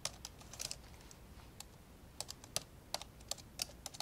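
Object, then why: Plastic laptop keyboard keys. Fingertips type with both hands on the plastic keys of an old, dark grey plastic laptop lying open. About fifteen short, bright, clicky taps land in uneven bursts, each dying away at once over a faint low background hiss.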